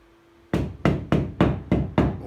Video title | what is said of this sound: 7-8-2020 Problèmes avec propriétaire de logement insalubre depuis 3 ans | si je tape au plafond ça sonne creux dans toutes les pièces parce qu'en fait il ya pas de plancher